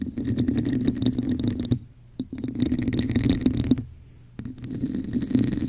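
Long nails tap and scratch the top and sides of a hollow red textured plastic cup held over the mic. Three stretches of rapid, uneven tapping and scraping carry a low, hollow resonance with faint bright textured edges. Each stretch breaks off into short quiet gaps, with one lone tap in the first gap.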